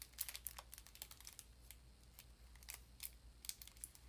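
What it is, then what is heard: Foil-wrapped sardine tin. Long nails scratch and crinkle the edge of a crinkly foil paper wrapper on a small, rectangular, seemingly full sardine tin held in the hands. Irregular bright, crisp crackles and scratches come in quick bursts over a quiet, steady low hum.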